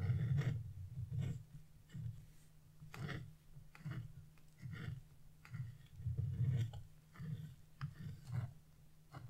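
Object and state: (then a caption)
Wax-coated scratch-art paper being scraped. A flat chisel scrapes the black coating off a wax-coated scratch-art sheet beside a purple cloud and a star. Seven separate scraping strokes make low, rough rasps, each with brighter scratchy edges and quiet gaps between.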